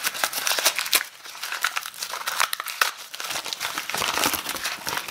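A small wad of brown kraft packing paper, possibly with a small item wrapped inside, is held in both hands and unwrapped by the fingers. Dense, bright crinkling and crumpling rustles on without a pause, with many sharp little crackles standing out and no low-end body.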